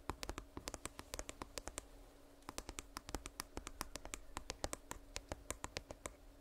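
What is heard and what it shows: Fingers tap rapidly on an earbud charging case, producing a quick series of short, sharp clicks with no voice over them. A faint steady hum runs underneath.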